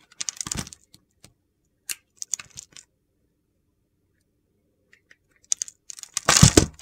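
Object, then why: Solid soap bar cut with a knife. A utility knife carves shavings and curls off a solid purple bar of soap, giving short, dry, crunchy scraping bursts with bright edges and quick clicks between long quiet gaps. The clip ends with a longer, louder crunching cut.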